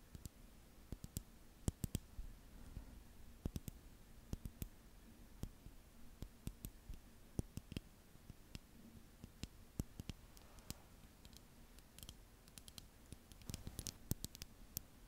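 Long nails tap and click on a small blue liquid-filled glass facial ice globe with a handle, held close to the mic. Dozens of short, sharp, bright clicks land at an irregular pace over a quiet background with a faint steady low hum.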